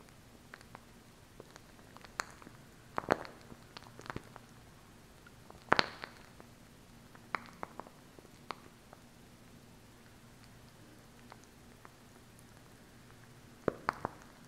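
A small hollow plastic glue stick with a cap is held in one hand while long acrylic nails tap and scratch its surface. Quiet, sharp clicks and brief scratches come in scattered clusters over a faint steady hum, with very short ring and a bright, thin tone.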